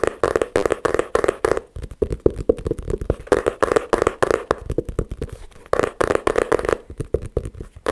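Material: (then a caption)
Wood. A flat, rectangular, light-colored wooden board about a hand wide, which looks solid, is held in both hands and tapped on its face with the fingertips and short nails. The result is a rapid, uneven stream of dozens of dry, hollow-sounding taps centered in the low midrange, each dying away almost at once with little bright edge.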